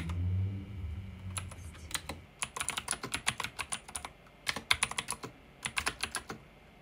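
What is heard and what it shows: Fingertips with short nails type rapidly on a pink backlit mechanical keyboard with plastic keycaps and a plastic case. A low hum fills the first two seconds, then around thirty sharp, bright, clacky keystrokes follow in quick bursts separated by short pauses, each one dying away almost instantly.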